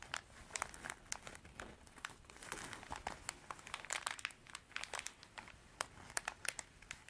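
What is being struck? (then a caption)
Canvas zippered pencil pouch. Long dark artificial nails scratch across a small, soft, hollow cream canvas zippered pencil pouch. Dense, dry scratches and crinkles come in quick bursts with bright, hissy highs and almost no low end. Each stroke stops dead, with no ring.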